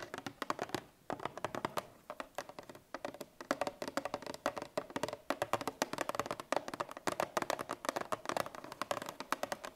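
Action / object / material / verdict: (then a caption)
tap / paperboard laminate milk carton / paperboard / none. Long painted fingernails of both hands tap rapidly on a 1 L Parmalat Tetra Pak milk carton of paperboard laminate, which rests on a wooden table and is likely full. The many quick, dry clicks come in bursts with very short ring and a hollow tone around 590 Hz.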